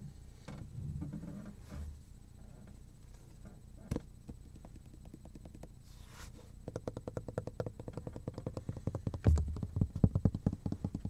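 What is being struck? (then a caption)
Plastic cutting board. A black plastic cutting board with a cut-out handle slot, flat and solid, is held in both hands while fingertips tap and scratch along its surface and edge. Soft, low rubbing and scratching fill the first half, then a rapid run of short, dull, low taps builds and grows louder toward the end, with no ring after each hit.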